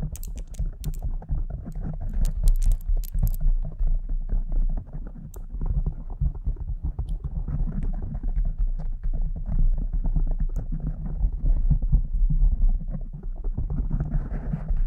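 Long acrylic nails scratch and tap all over a soft, porous pink foam windscreen on a silver condenser microphone, using both hands. The result is a dense, continuous stream of deep, muffled thumps and rustling scratches, almost entirely low-pitched. A few bright clicks come through in the first few seconds.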